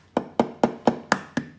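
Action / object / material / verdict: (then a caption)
tap / raw hen's egg, eggshell / eggshell / cracked. A second raw hen's egg is tapped seven times against the work surface, each a short, dry knock with a mid-range body and almost no ring. The eggshell cracks, and the egg is then opened over the bowl.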